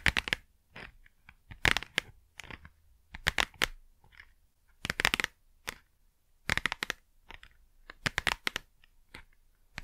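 Long nails tap and scratch the front and edges of a small, hollow cardboard Blu Tack box held close to the mic. Quick clusters of dry, bright taps and scratchy brushes come in irregular bursts with quiet pauses between them. Each tap cuts off almost instantly with no ring.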